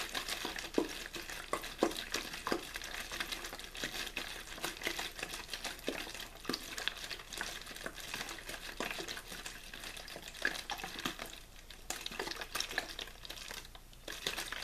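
A clear, thin plastic water bottle with a blue label, hollow and apparently empty, is held in the hand, shaken and squeezed. The plastic gives a steady, dense, bright crinkling and crackling throughout, with frequent short, sharp snaps and little low-end weight.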